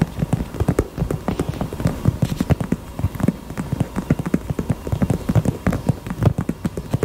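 A pink heart-shaped purse is tapped rapidly with the fingers. The result is a steady stream of soft, dull, low taps with almost no ring and little high-end brightness.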